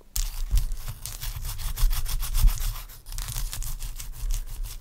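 Long acrylic nails scratch and rub across a large, clear, solid block of ice resting on a towel. The result is a continuous run of quick, gritty, rasping strokes with bright hiss over a heavy low rumble, pausing briefly near the three-second mark before resuming.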